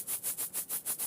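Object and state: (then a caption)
Charcoal filter cartridge with small charcoal granules inside. The charcoal deodorizing filter cartridge of a Bespoke Cube Air purifier, packed tightly with small charcoal pieces in a honeycomb-like structure, is shaken back and forth. Five rhythmic bursts of bright, hissy rattling are heard, mostly high-frequency granular swishes with little low end.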